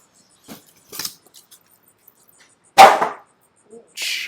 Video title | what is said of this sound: I BOUGHT This Illegal Electric Bike So You Dont Have To, Surron Light Bee X | your cardboard has a snap to it